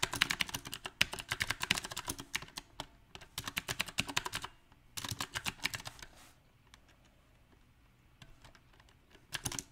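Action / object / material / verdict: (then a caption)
tap / mechanical keyboard with round plastic keycaps on a metal frame / plastic / none. Fingertips type on a mechanical keyboard with round plastic typewriter-style keycaps on a silver metal frame, producing fast bursts of bright, dry, clicky key taps. Dense typing fills the first four and a half seconds, with another flurry around five to six seconds. Only scattered soft taps follow in near-quiet before a last short burst at the end.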